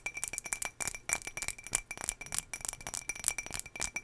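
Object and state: Glass jar.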